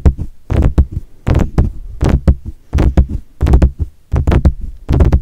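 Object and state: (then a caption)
Metal condenser microphone tapped on its grille. Fingertips of both hands tap on the mesh grille of a silver metal desktop USB condenser microphone. The taps land as a quick, uneven run of short, deep, muffled thumps, often in clusters, with almost no ring and a low boomy body and faint brighter clicks on top.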